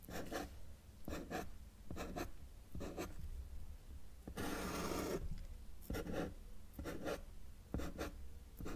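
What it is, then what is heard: Marker drawing on paper. A felt-tip marker held in the fingers makes short strokes on a flat white paper sheet resting on a solid table surface, drawing small trees. Quick paired scratchy strokes repeat steadily over a low background hum, with one longer, brighter stroke in the middle.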